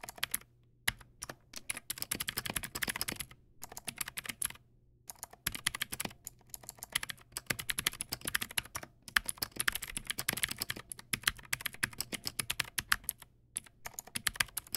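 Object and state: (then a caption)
Plastic mechanical keyboard. Fingertips type steadily on a Teamwolf Zhuque+ X08, a backlit plastic mechanical keyboard with white plastic keycaps and clicky blue switches. Rapid, bright, crisp clicks arrive in dense bursts separated by brief pauses, each one dying out almost instantly, over a faint low hum.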